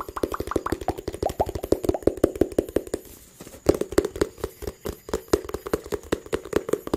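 A small, hollow blue and white cardboard phone box is held in one hand and tapped with the fingertips of the other. About 44 quick, dry taps, each with a hollow mid-pitched tone, come in rapid bursts with a brief pause just past the three-second mark.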